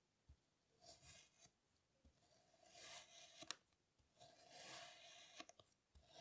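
A plastic serrated toy knife is drawn through a solid, hand-sized slab of flat pink kinetic sand that has already been scored, in repeated cutting strokes. Each stroke gives a soft, bright, gritty rasp of grains scraping apart, with short crisp clicks and quiet pauses between strokes.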